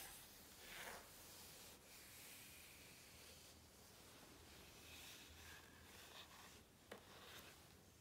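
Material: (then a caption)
Coated paper. A flat hand rubs the glossy coated paper page of a large open hardcover book, and a fingertip taps and scratches along a printed image of trousers. A soft, steady, bright rubbing and scratching hiss runs throughout, with one sharp tap near the seven-second mark.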